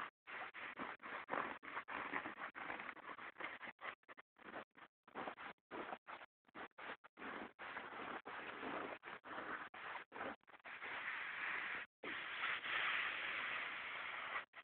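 The fingertips and short nails of one bare hand scratch and drag across a pair of light-wash cotton denim jeans lying flat, back pocket side up, on a cloth-covered bed, near the back pocket. The result is a quick, irregular run of dry, rasping scratch strokes separated by brief silences. The strokes are mid-to-bright in tone with little low end, and a longer, steadier scrape comes near the end.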